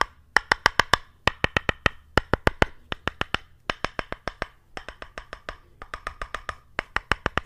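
An orange-brown solid wooden paddle-shaped piece, held horizontally above a microphone, is tapped repeatedly with the white handle of a small brush. About 40 dry, hollow wood-block knocks come in quick runs, each with a bright click and a tone near 1.1 kHz that dies almost instantly.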